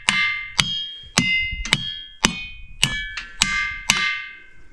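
Boulders in the ringing rocks pile east of Butte, Montana, are struck with a hammer. Eight sharp strikes each give a clanging, bell-like tone with bright high overtones that ring and fade between hits. The big rocks give the most striking ring.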